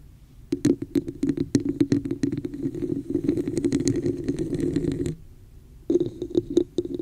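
Long acrylic nails scratch and tap the sides and top of a hollow red textured plastic cup placed over a microphone. Quick clicking taps and rough scratching ring with a hollow, boomy resonance around 340 Hz from about 0.5 to 5 seconds. After a brief quiet gap, sharper, brighter taps return.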